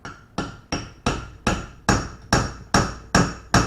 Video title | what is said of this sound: 1970 Chevelle LS Swap - PT.2 | when it sounds solid it's on there